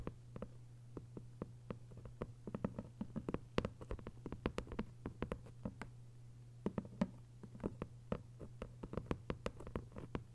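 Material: Paper.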